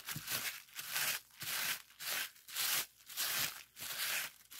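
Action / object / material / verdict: scrape / plastic bubble wrap sheet / plastic / none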